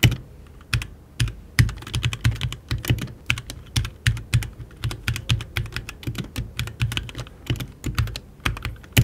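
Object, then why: Mechanical keyboard with plastic keycaps and aluminium case. A HyperX Alloy Origins 60, a compact RGB mechanical keyboard with plastic keycaps and an aluminium case, is typed on continuously with fingertips while the mouse beside it stays untouched. Dense, quick keystrokes give sharp clicky transients with a low thocky body around 117 Hz and bright tops, each dying away almost instantly.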